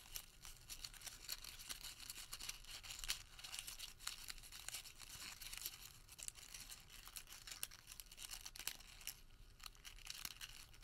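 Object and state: Crumpled paper receipt.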